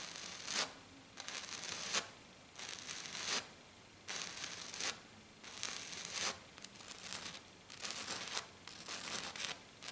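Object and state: Glitter-covered sheet being scratched.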